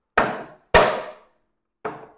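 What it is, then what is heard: Cracked 3D-printed plastic enclosure. A hammer strikes a 3D-printed plastic enclosure with nuts running through it three times. Each strike gives a sharp, bright clack that fades within about half a second, and the third is softer. The enclosure cracks from the blows, showing why 3D prints were abandoned for this use.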